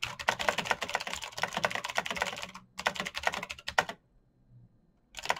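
Bare fingertips type quickly across a full-size black plastic mechanical keyboard with clicky green switches and RGB backlight, its hollow case resting on a desk mat. Dense, bright, crisp clicks run in rapid bursts with a brief pause before three seconds. A near-silent gap follows before typing resumes at the end.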